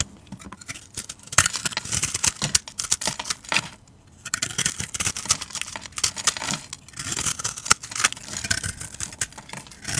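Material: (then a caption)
Soap. A utility knife blade shaves and chips flakes off a solid, hand-sized bar of blue soap with a glitter coating. The sound is a dense run of bright, crisp scraping and crackling strokes, with a brief quiet pause around the fourth second. Sharp snaps stand out now and then.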